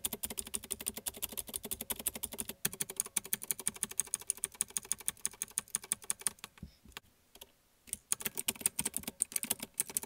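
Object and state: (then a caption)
Plastic mechanical keyboard being typed on. Fingertips of one hand, then both hands, rapidly type on a small black plastic one-handed mechanical keyboard with blue clicky switches. A dense run of sharp, bright clicks with almost no ring briefly stops near the seven-second mark, then resumes.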